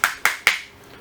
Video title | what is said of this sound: N° 6 Remplacement du Condensateur dans un moteur Simu | on entend bien au bruit qu'on est embuté. Ça sonne.